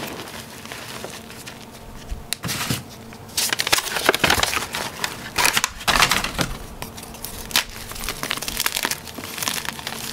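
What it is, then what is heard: Gym chalk block being crushed. A solid, hard, pale bar-sized gym chalk block of magnesium carbonate is broken and crushed by hands in white cotton gloves inside a tub of loose chalk powder. Dry, bright crunching and crackling bursts come in a series of sharp snaps over a soft, gritty rustle. The block snaps into crunchy chunks.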